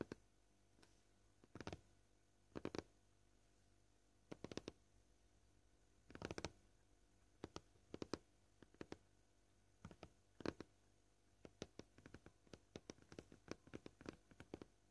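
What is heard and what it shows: Short painted fingernails tap slowly on a flat, solid, white, scratched plastic cutting board. The sharp, dry clicks stop almost instantly and come in small irregular bursts over a quiet background. Each tap has a hollow, low-mid knock.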